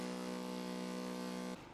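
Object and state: Nothing is struck.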